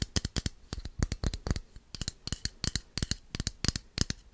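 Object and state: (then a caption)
Plastic bottle tapped. Fingertips and nails tap and click on the body and cap of a small, hand-held red plastic bottle, which is likely hollow. About 27 quick, uneven taps sound, each a dry, sharp click with a bright top and a soft low thud that dies away at once.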